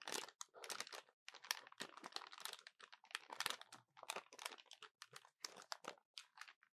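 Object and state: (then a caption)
Plastic calculator keys. Fingertips and short nails rapidly tap and press the keys of a small, dark, hollow plastic calculator held in both hands above a table. The result is a quiet, continuous run of dry, crunchy clicks with a bright, crackly texture and no low end. Each click stops instantly with no ring.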